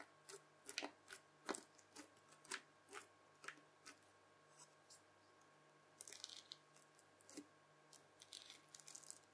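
A white plastic fork's tines press into a red bubbly slime disc, then lift and fold its edge over. Quiet, bright crackles and crunchy pops come in short bursts, giving way to denser crackling clusters near the end, over a faint steady hum.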